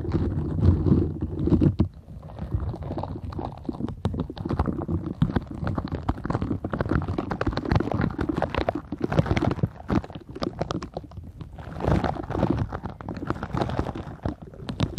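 A green silicone bristle scrubber is held flat while fingertips and long nails rub and scratch across its nubs. The result is a steady, dense run of soft, low, muffled rubbing, dotted with quick scratchy clicks and brighter taps throughout.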